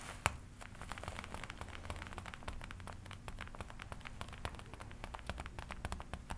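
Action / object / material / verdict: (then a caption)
scrape / leather jacket / leather / none. Fingers scratch and rub the black leather panel near the shoulder of a worn black and red leather jacket. A quiet, steady stream of short, dry scratches and soft crinkly rustles runs throughout, with one sharper tick near the start, over a low background hum.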